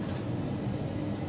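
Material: Nothing is struck.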